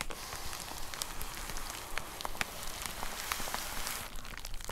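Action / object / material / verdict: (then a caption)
tap / plastic poly mailer envelope with a box inside / plastic / none. Long nails tap and scratch across a white plastic poly mailer envelope with a box inside. The result is a steady crinkly rustle broken by sharp, bright little clicks at an uneven pace.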